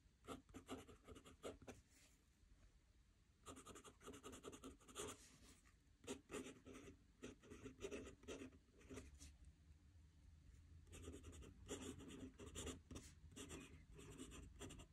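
A metal fountain pen nib scratches across a squared paper notebook page lying flat on a desk as a hand writes. Quick, bright, scratchy strokes come in bursts, with quieter pauses around 2–3.5 seconds and 9–11 seconds, over a soft low rumble.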